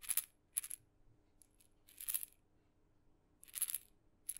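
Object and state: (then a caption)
Small wooden maraca. A tiny red maraca with blue dots, with a glossy painted head (likely wood) on a light wooden handle and loose filling inside its hollow head, is held by the handle in the fingertips and gently shaken close to a microphone. Quiet, bright, dry rattling comes in short separate bursts with faint ticks between them, and each burst stops almost at once.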